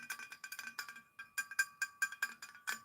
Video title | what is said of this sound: Have breakfast with me LIVE ASMR | The tapping's been getting far more high pitched.